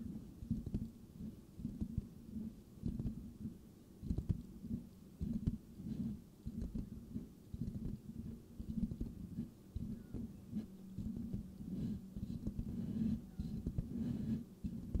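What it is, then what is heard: Metal mesh microphone grille being scratched. Fingertips slowly rub and scratch the silver metal mesh of a hollow microphone grille. The result is a muffled, low scraping and thumping with an irregular rhythm, its energy concentrated in the bass with almost nothing bright above it.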